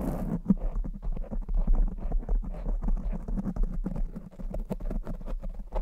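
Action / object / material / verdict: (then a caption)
scrape / foam microphone windscreen / foam / none. Very long blue acrylic nails on both hands scratch and tap a soft, porous black foam windscreen on a silver condenser microphone. The result is a continuous, dense stream of muffled, deep thuds and rustling scratches with quick, dry decay. Nearly all of the energy sits in the low range with almost no high content.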